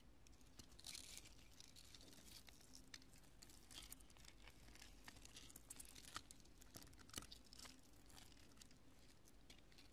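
Long nails tap, press and scratch small cured pale-yellow polyurethane spray foam chunks, porous and solid, resting on a purple cloth. The result is a quiet, steady stream of dry crinkling, crunching and scratching with a bright hiss, punctuated by short sharp taps that die away almost instantly.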